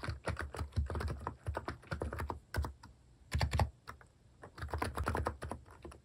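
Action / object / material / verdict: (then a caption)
tap / plastic keycap keyboard / plastic / none. Fingers type across a mechanical keyboard with plastic keycaps, one hand over its right side. Fast runs of short, deep clacks with a low thump arrive in bursts separated by brief pauses.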